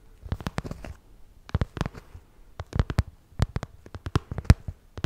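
Long acrylic nails tap and scratch close up on the shiny surface of a small, hollow, zippered pink cosmetic pouch made of glossy vinyl. Quick, clicky taps come in uneven bursts with short, dry, low thumps and faint high ticks, separated by brief pauses.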